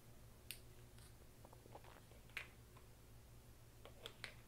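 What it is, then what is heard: Plastic poker chips clicking. Fingers handle small, solid green plastic poker chips over a chip tray, stacking and clicking them together and dropping them into the slots. Sharp, bright clicks sound at irregular intervals over a quiet, steady low hum.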